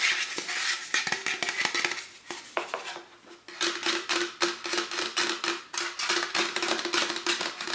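Fingertips and nails tap and scratch the metal body and ends of a tall, printed aluminum Star Wars drink can, hollow and apparently empty, held in both hands. Quick, irregular bright taps and hissy scratches come with a faint hollow ring, and the sound briefly softens to lighter scratching before the tapping picks up again.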